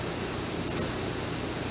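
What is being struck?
Nothing is struck.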